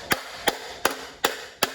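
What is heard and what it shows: The cast aluminum center piece of a ceiling fan motor housing, with its screws removed, is struck five times at a steady pace. Each hit is a short, sharp knock with almost no ring. The housing sounds hollow.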